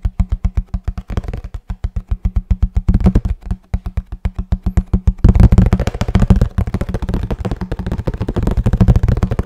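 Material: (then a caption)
Cardboard. Fingertips and nails tap rapidly on a hollow kraft cardboard box, producing a steady run of short, dull, low thuds with a hollow resonance and almost no bright content. The tapping becomes louder and denser after about five seconds and continues until the end.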